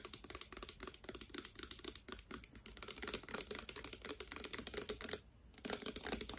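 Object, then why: Plastic pump bottle, part filled. A clear, hand-sized, hollow plastic Garnier Fructis hair serum bottle with a green pump, partly filled with clear liquid, is tapped fast with long dark-painted nails. The result is a dense stream of quick, dry, clicky taps with a bright top and a light hollow body around 420 Hz, pausing briefly near the five-second mark before resuming.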